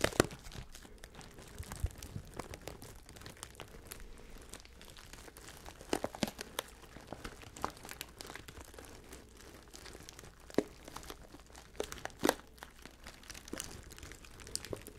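A resealable plastic pouch of Edamame Power snack mix, full of dried beans and cranberries, is held in both hands and crinkled and squeezed with the fingertips. The result is a steady, quiet crinkling with scattered sharper crackles and crunches, some of them bright and snappy.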